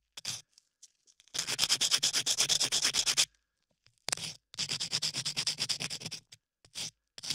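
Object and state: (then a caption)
Clay-covered microphone ear being sanded. A latex-gloved hand rubs a small sanding block across dried, solid beige clay sculpted over a microphone ear, sanding it continuously. The clip is bright, gritty scratching in quick back-and-forth strokes, about three per second. Two long runs are separated by brief pauses and a few isolated strokes.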